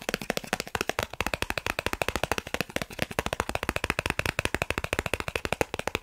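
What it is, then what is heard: Plastic card tapped. A thin, solid dark blue plastic Snipes gift card of credit-card size, held in both hands, is rapidly tapped and scratched with fingertips and short nails. About 50 quick, dry clicks follow one another over six seconds, each dying away almost at once, with a bright plastic tick and a faint scratchy edge between taps.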